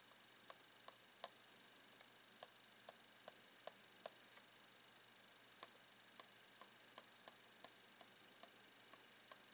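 A blue pen taps along the plastic side of a clear plastic box of rolled socks standing on its edge, giving 16 quiet, short, bright ticks with a faint hollow plastic tone. The taps come at uneven intervals over a steady low hiss, with a longer pause in the middle.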